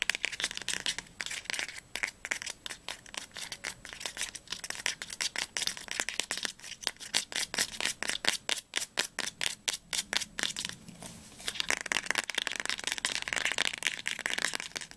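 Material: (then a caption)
Paper. Fingernails rapidly tap and scratch along the spine of a tilted teal paperback book, with knuckles also used at one point. Bright, dry, crisp clicks fire in quick succession with almost no ring, clearest in the middle of the clip. Hissy scratching fills the start and the last few seconds.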